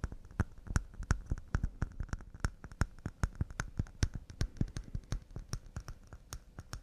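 Wooden cups made of pine are tapped fast and delicately with about thirty quick, dry taps in an uneven rhythm. Each tap is a short, hollow knock with a deep low body and a faint bright click on top. The sound dies away almost instantly.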